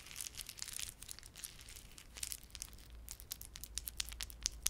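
A small clump of plastic garland with solid glossy dark blue and silver plastic beads and red spiky plastic fringe is held in both palms while fingertips rub and squeeze it. Quiet, bright, irregular clicking and crinkling crackles come in quick bursts over a faint low hum.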